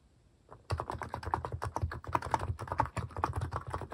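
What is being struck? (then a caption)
Plastic mechanical keyboard keys. A compact mechanical keyboard with a white plastic case and pastel cat-themed plastic keycaps, resting on a wrist pad, is typed on steadily by fingertips. A rapid, continuous run of dull, thocky key taps with a low thump under each press starts after a brief quiet moment, and the short clicks die away almost instantly.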